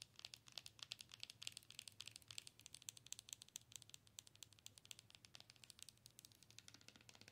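Long acrylic nails tap and scratch the front of a hollow, color-changing Hedwig owl night light, about head-sized and apparently plastic, held in one hand. A quiet, fast run of dozens of dry, bright clicks and crinkly scratches carries over a faint low hum. Each tap stops dead with no ring.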